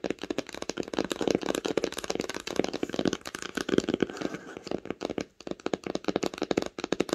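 Long pink nails tap rapidly on the cover of a red cloth-bound hardcover book lying flat. The result is a dense stream of short, dry, mid-pitched taps with almost no ring, pausing briefly just after five seconds and again near the end.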